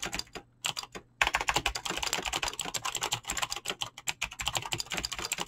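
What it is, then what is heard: Mechanical keyboard with PBT plastic keycaps. Fingertips with short painted nails type fast on a full-size mechanical keyboard with Razer green clicky switches and pink-blue PBT plastic keycaps, resting on a desk. A dense stream of bright, sharp clicks with very short decay follows a few brief pauses near the start.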